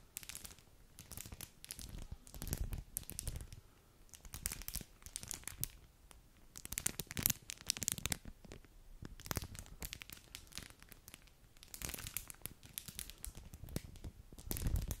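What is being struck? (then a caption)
Foil-plastic snack wrapper. A small metallic foil and plastic snack wrapper packet, held in both white-gloved hands, is crinkled, folded and rubbed between the gloved fingertips. The result is a continuous stream of sharp, bright crackling and crinkling in uneven bursts, with soft low handling thumps underneath and no lingering ring.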